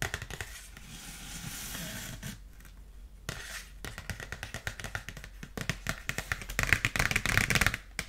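A dark polka-dot paper gift bag, held sideways, is scratched and tapped with long nails. A steady, papery scratching with a bright hiss gives way after a brief lull to a rapid, irregular run of sharp, crisp taps that grow louder toward the end.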